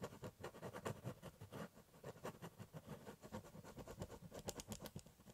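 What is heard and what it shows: A ballpoint pen scratches hatching strokes across the top of a large corrugated cardboard box. The result is a quiet, steady run of short, dry scratching strokes with a low papery rasp and brief bright flicks, each stroke dying away almost at once.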